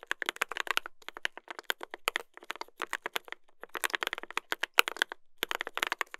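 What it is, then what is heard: Mechanical keyboard with brass plate and plastic keycaps. Two hands type continuously with their fingertips on a mechanical keyboard with a brass plate and plastic keycaps. The result is a rapid clatter of sharp, dry, bright clicks with almost no low end, broken by brief pauses near 1, 3.5 and 5.3 seconds.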